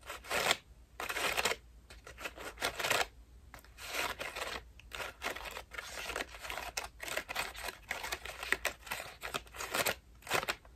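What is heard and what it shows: A white foam bath loofah with a rope loop is scratched and squeezed with long nails. The result is a dense run of short, bright, scratchy rustling bursts with quick breaks between them and almost no low end.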